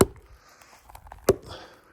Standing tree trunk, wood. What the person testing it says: as long as you get that sound, that's a sound tree. If it sounds hollow, it's rotten.